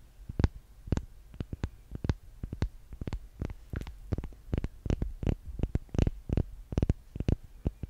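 A small, solid pink-and-yellow handmade soap bar is held near the mic and tapped rapidly and irregularly with long painted nails. Each tap is a soft, low, dull thud topped by a brief bright click that stops dead with no ring.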